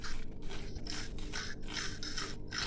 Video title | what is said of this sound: Crispiest Sambal Ikan Bilis with Peanuts/Spicy, Crispy, Sweet and Nutty Anchovies with Peanuts | it gives a gratifying hollow sound when stoked with a ladle